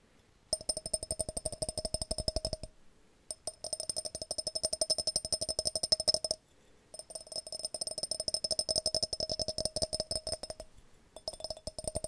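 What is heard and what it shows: A glass jar is tapped in quick, steady runs of light taps, broken by brief pauses of about half a second. Each tap is a short, bright click with a faint glassy ring, high in tone with a lower hum underneath.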